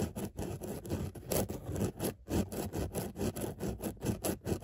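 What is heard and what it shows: Long nails scratch rapidly over a padded grey textile car seat with a raised dotted pattern. The result is a quick series of uneven, rough rubbing strokes with a dull, low-heavy tone and very little bright edge.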